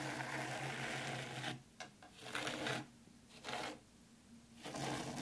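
Long pointed pink nails scratch and comb fine white sand in a black round Zen garden tray. Bursts of bright, grainy scratching come and go with quieter pauses between them.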